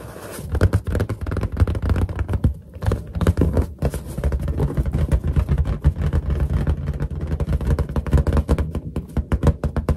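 Long nails tap rapidly on a large, hollow, inflated white latex balloon, then fingertips rub its lower surface. The result is a dense run of short, dull, booming thumps, deep and low with almost no high end, each dying away almost instantly.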